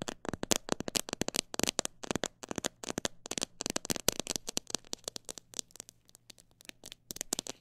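Fingertips and nails tap and scratch the surface of a clear plastic jar full of mixed bird seed, held in both hands. A rapid, uneven run of many short, bright, dry clicks with almost no ring; the pace shifts between fast bursts and slower taps, softening briefly near the end before picking up again.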